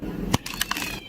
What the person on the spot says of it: هشة هشاشة مش طبيعية ومقرمشة جدا